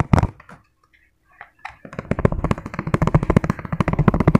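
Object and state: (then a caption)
Empty plastic food container. Fingertips tap fast on an empty, hollow, clear ribbed plastic food container. A few scattered taps lead into a rapid, steady run of short, dull, hollow knocks that stop instantly with no ring.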